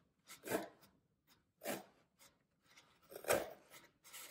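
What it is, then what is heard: Floral foam block being crushed. Fingertips press down hard on a solid green floral foam brick, crushing it and leaving rows of dents along the edge. Three main dry, crunchy crackles stand out, with fainter crumbly rustles between them; each burst is short, with a midrange body and a bright, gritty hiss.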